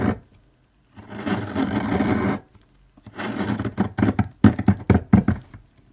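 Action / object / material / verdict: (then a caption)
scrape / bar of soap scraped with a metal blade / soap / none. A metal blade scrapes chunks off a solid, long orange bar of soap standing upright, and the shavings pile up at its base. After a brief opening scrape and a pause, a long, steady rasping stroke runs for over a second. Then, after another pause, comes a stretch of continuous scraping followed by a run of short, choppy scrapes with a dull, low-heavy texture.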